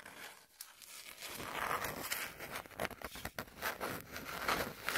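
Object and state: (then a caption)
Cardboard sheet scratched with nails. A flat brown cardboard sheet held in the hands is scratched across its surface with long nails. The result is a dry, rasping, crinkly scraping in repeated strokes, bright and papery with almost no low end.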